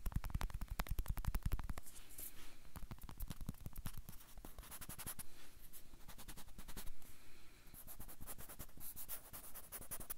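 A whole unpeeled banana is held in both hands while fingertips and nails scratch rapidly along the peel. Dense, quick scratchy ticks come first with heavy low thumps for about two seconds. They then thin into a steadier, lighter rasping with bright crackly bursts.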